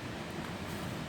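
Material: Nothing is struck.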